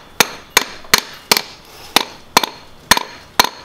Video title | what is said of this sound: 차박사TV_19회 헉! 엔진에서 새가 울고있어! 댐퍼풀리 교환하자!! | 떠는 소리가 나죠 둔탁한 소리가 나야되는데 약간 털그럭 털그럭